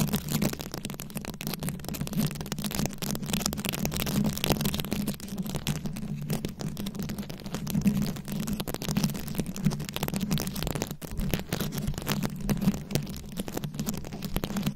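Long acrylic nails scratch and tap across a fist-sized microphone head fully covered in small glued-on rhinestones and beads. The result is a continuous, dense crackle of fast clicky scratches over a steady low hum near 200 Hz, with brief louder bursts along the way.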